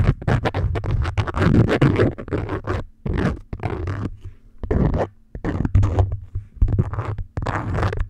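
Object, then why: Beeswax-coated cotton food wrap. Long nail tips scratch and tap the waxy surface of an orange beeswax-coated cotton food wrap stretched over a microphone. Dense bursts of muffled, bass-heavy crinkling and scratching come in clusters with brief quiet gaps, and a faint steady low hum sits underneath.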